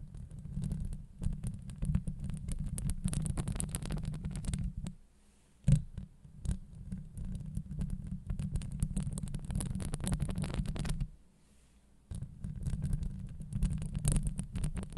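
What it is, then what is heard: Metal mesh microphone grille being scratched. Long acrylic nails of both hands scratch a hollow steel wire-mesh microphone grille up close, producing a dense, deep rumbling scrape with fine bright crackle on top. The scratching runs in long stretches, broken by quiet pauses near 5 and 11 seconds, with a sharper tap just before 6 seconds.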